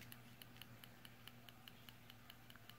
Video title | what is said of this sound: Benchmade 781 Anthem | the pocket clip tapping in there whenever I get gripped this knife